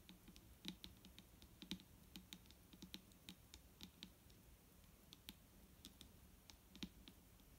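A large, clear plastic micellar water bottle with a green cap, full of liquid and lying on a wooden table, is tapped with the long nails of both hands. The result is a quiet, steady stream of quick, irregular clicks, each with a bright nail tick and a short, hollow, low thud that dies away almost at once.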